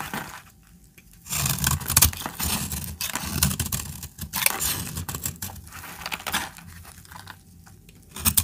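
A hand with long red nails holds a hand-sized solid bar of dried orange soap while a metal utility-knife blade scrapes and cuts into it, shedding shavings. Dry, crackly scraping and crisp cutting bursts come in uneven strokes, broken by brief quiet pauses.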